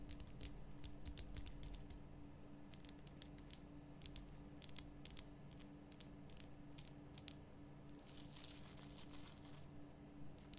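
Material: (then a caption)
Rock salt. Long nails rapidly tap the solid, rough surface of a large, lit pink Himalayan rock salt lamp, making quick, bright, dry clicks in an uneven rhythm. A steady low hum and faint rumble sit underneath throughout, and near the end the tapping turns briefly into a denser, scratchy flurry.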